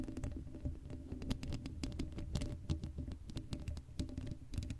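Long acrylic nails scratch the hollow black steel mesh grille of a Blue Yeti microphone that has no cover. The result is a quiet, rapid, dense patter of short scratchy ticks over a boomy low rumble, with brief bright clicks and no ringing after each stroke.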